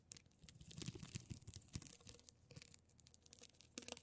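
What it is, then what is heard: Plastic rhinestone mesh sheet. Long pointed purple nails scratch and tap across a thin, flat rectangular plastic rhinestone mesh sheet of small silver rhinestones lying on a holographic glitter surface. Quiet, quick clicking taps and scratchy, crinkly rasps pile up densely with bright high ticks, each hit dying away almost instantly.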